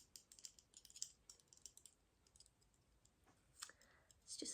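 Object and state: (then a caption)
Plastic Christmas ornament, not glass. A red rose Christmas bauble with a glittery gold stem, which looks like glass but is made of plastic, is tapped in a quick series of light, bright clicks. The taps confirm it is plastic, not glass, so it won't break or shatter.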